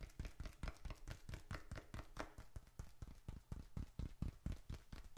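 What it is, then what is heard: Leather wallet. Fingertips tap quickly on both faces of a small, closed, reddish-brown leather bifold wallet, held upright in both hands in front of the mic, with paper bills and receipts inside. The result is a rapid, slightly irregular patter of soft, dull, low thumps that die away almost instantly, with a faint brighter tick on some taps.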